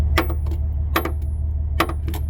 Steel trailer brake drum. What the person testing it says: you can hear there's definitely like no kind of little ting or echo with these. It sounds solid.